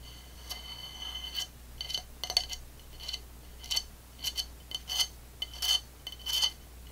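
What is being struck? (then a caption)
Upside-down ceramic plate. A medium-size dark blue ceramic plate, turned upside down with its hollow underside tilted up by one hand, has its base tapped with long fingernails and fingertips. Bright, sharp clicks and clinks come in irregular clusters, with a high glassy ring that dies away almost at once over a low steady hum.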